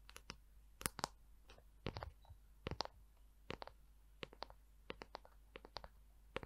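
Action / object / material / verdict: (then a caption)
tap / wooden paddle hair brush / wood / none. Long acrylic nails tap and scratch the smooth, curved back of a palm-sized, hollow-looking light wooden paddle hair brush held close. About twenty short, dry, bright clicks come in an uneven run, with soft scratchy rubbing between them. The clip is quiet overall, each tap dies almost instantly, and a faint low hum sits underneath.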